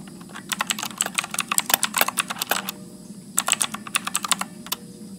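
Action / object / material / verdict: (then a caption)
tap / mechanical keyboard with plastic keycaps / plastic / none. Fingertips type continuously at medium speed on a backlit Motospeed mechanical keyboard with blue switches and plastic keycaps. Sharp, bright clicks arrive in quick bursts over a faint steady low hum. A short pause falls just before the three-second mark, then the clicking resumes.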